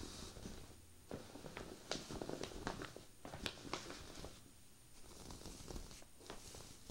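Fingertips with long painted nails scratch and rub across a folded cream cable-knit sweater lying flat. Soft, quiet scratching and brushing with short rustling bursts, some crisper and brighter, over a low rumbling bed.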